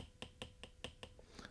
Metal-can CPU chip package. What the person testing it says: if I tap on it, I can clearly hear that it's empty inside